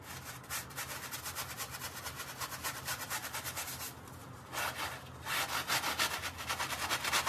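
A gloved hand scrubs a small, dark, wet, soapy fabric mat briskly with a handheld bristle brush. Rapid, bristly back-and-forth strokes give a bright, hissing rasp over a low steady hum. The scrubbing briefly softens around the four-second mark, then resumes louder and faster.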